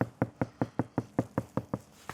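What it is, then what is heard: Soundproofed car door, deadened. Eleven quick knocks on a Mercedes C-Class sheet-metal car door that has been fully soundproofed with several layers of sound-deadening material. Each knock is a short, dull thud that dies away almost instantly with no ring, sounding completely deadened compared with an untreated panel.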